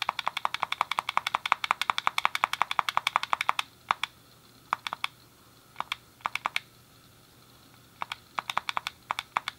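A hand-sized, hollow grey plastic SNES game controller is clicked rapidly, the D-pad pressed with a thumb and the face buttons tapped with fingertips. A dense run of sharp, dry plastic clicks with no ring fills the first few seconds. It thins to scattered single clicks and short pairs, then picks up again into a quick cluster at the end.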